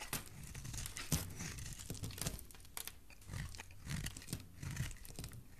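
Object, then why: Bar of soap cut with a metal blade. A solid green bar of soap is held in the hand while chunks are cut off it with a metal blade. The blade makes a rapid series of crisp, crunchy cuts and scrapes, with bright crackling edges over a soft, low body. Each cut dies away almost at once.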